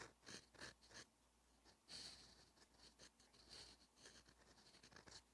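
A Twsbi Eco fountain pen with a steel extra-fine nib writes Korean on a thin, cream-coloured lined page of a paperback notebook with light, repeated strokes. About eleven short, bright scratching strokes sound in an irregular rhythm, each dry and quickly fading against a quiet background.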